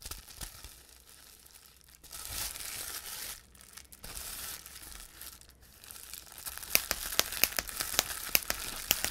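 A large sheet of clear plastic bubble wrap is handled with the fingertips, with bright crinkling and rustling swelling and fading across the first several seconds. In the final stretch, the bubbles are pressed and popped, giving a run of sharp, dry snaps over the continued crinkle of the sheet.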